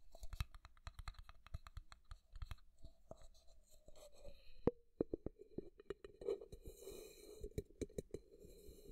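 A hollow, empty-looking frosted translucent plastic cup-shaped container is held sideways by the ear and scratched and tapped with fingertips. Quiet, dry taps and scratching with almost no ring, plus a faint hollow tone near 470 Hz that hums under the later taps.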